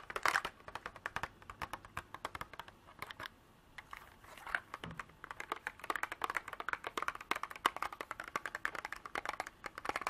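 Long black nails tap and scratch the walls and lid of a small clear hard-plastic box partly filled with small cream beads. Dense, rapid, crisp clicks and ticks with a bright plastic edge and almost no ring, easing into a brief quiet stretch before the tapping picks back up.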